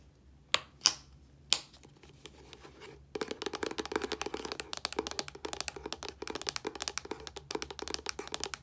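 A hollow, medium-sized Olay plastic body wash bottle with a yellow cap is tapped with long nails. Three sharp, separate taps and a few softer ones come first, then a fast, continuous run of bright, dry clicking taps with almost no ring.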